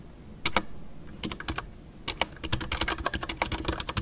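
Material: Plastic.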